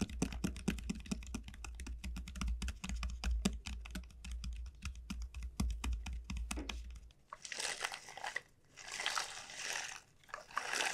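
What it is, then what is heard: Dried bottle gourd. Long nails rapidly tap and scratch the hard, hollow shell of a large, elongated dried bottle gourd, making a dense run of short, clicky knocks over a low rumble for about seven seconds. The gourd is then turned and held, giving way to bright, airy rustling and scraping in bursts.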